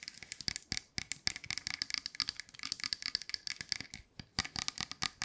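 A tall painted wooden nutcracker soldier with wooden ball-tipped arms and a red base is held in hand and tapped and scratched with long nails, its parts rattling as it is handled. Dense, rapid bright clicks and scratchy taps come in quick irregular bursts, with dry, crisp, short-lived hits and almost no low end.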